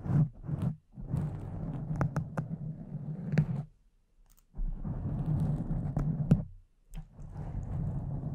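Long decorated nails of both hands scratch and rub a soft, porous pink foam cover on a large silver microphone. The result is a dense, muffled, low rumbling scrape with a few sharp ticks. It breaks off briefly near the middle and again toward the end before resuming.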